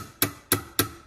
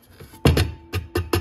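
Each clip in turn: First: Three crisp taps with a faint metallic ring near 280 Hz and 1.2 kHz: a sturdy all-metal bell base. Second: Five quick, dull knocks with a low thud and almost no ring: a lightweight plastic bell base.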